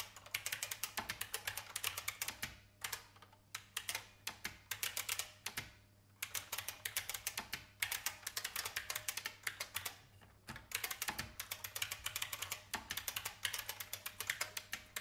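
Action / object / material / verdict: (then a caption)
tap / plastic mechanical keyboard / plastic / none. Fingertips of both hands type on a vintage beige IBM mechanical keyboard with plastic keys. Bursts of rapid, bright, clicky keystrokes come with brief pauses near 2.5, 6 and 10.5 seconds. Each click decays almost instantly over a faint steady low hum.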